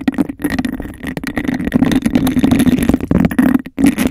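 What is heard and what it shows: Long acrylic nails tap and scratch fast and aggressively on the outer surface of a clear, hollow, empty glass cup with a bubbled texture, placed over the mic. A rapid, continuous stream of clicks and scrapes rings with a hollow, boxy resonance around 260 Hz, briefly dropping out twice.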